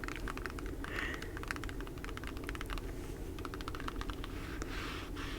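A small case full of nail equipment is tapped with natural nails and finger pads, giving a rapid run of light, crisp clicks and taps. The tapping continues over a steady low background hum.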